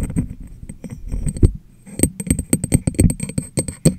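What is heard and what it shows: Fingertips and long nails tap the top and sides of a medium, clear, hollow, empty glass jar turned upside down over a microphone. A quick, irregular run of taps gives dull, low, hollow thumps with bright clicky edges that die away almost instantly. The tapping pauses briefly partway through, then resumes louder and more evenly spaced.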